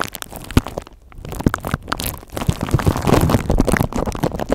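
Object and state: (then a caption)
Plastic bubble wrap mailer. A purple plastic bubble mailer with flat, hollow air bubbles is held close to the microphone and scratched and squeezed with long acrylic nails. The sound is a dense, uneven run of crinkling, crackling taps and scrapes, mostly low and soft, with a brief quieter pause near the start before the scratching builds up again.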